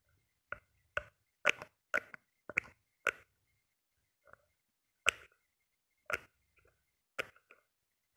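Short painted nails tap a small glass nail polish bottle, full of glitter polish with a metallic cap, held in the hand. About a dozen sharp, bright clicks come at uneven intervals, some faint and some in quick pairs. Each one stops dead with no ring.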